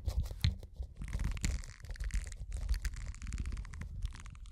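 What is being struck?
Silicone bristled scrubber pad.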